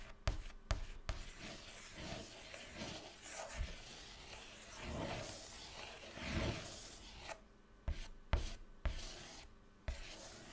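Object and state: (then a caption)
Chalk drawing on a chalkboard. White chalk held in the fingertips draws circles and loops on a flat black chalkboard panel, producing continuous scratching and rubbing with swelling strokes. Seven sharp taps stand out, three near the start and four near the end, where the chalk strikes the board between quieter gaps.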